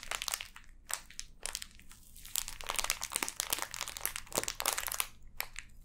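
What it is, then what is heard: Plastic-wrapped sand block. Long dark-painted nails and fingertips scratch and crinkle the clear plastic film sealing a hand-sized, solid, full block of pink kinetic sand on a table. Dense bursts of crisp, bright crinkling and scratching come in quick clusters with brief quieter gaps, each sound dying away almost instantly.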